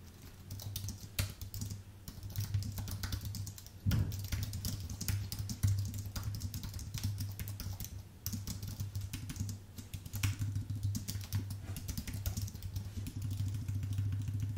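Fingertips type fast on a white, full-size Apple Magic Keyboard with plastic keycaps on an aluminium base. Dense streams of light, crisp key clicks with short, bright attacks continue throughout, with a few brief pauses. A steady low hum sits underneath.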